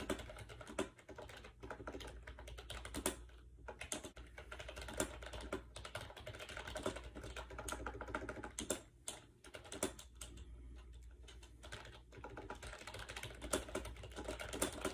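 Fingertips type fast on a compact gray plastic AJAZZ 308i wireless Bluetooth keyboard with round white keycaps, resting on a bed. Its hollow plastic keys give a dense run of short, dry clicks and clacks over a steady low hum.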